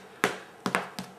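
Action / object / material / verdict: tap / soda bread crust / bread crust / hard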